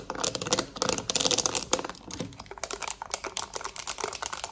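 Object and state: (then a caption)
Plastic TV remote. Long nails rapidly tap and scratch a black plastic TV remote, first lying flat and then held up, working over its buttons and back. The sound is a dense run of sharp, bright clicks and scratchy rasps with almost no low end and very little ring after each hit.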